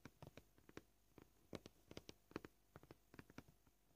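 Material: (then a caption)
Plastic. Short purple-polished fingernails gently tap a flat, solid white plastic cutting board marked with knife cuts. Sixteen soft, dry clicks fall at an uneven pace, each dying away almost instantly, with a low body and faint bright edges.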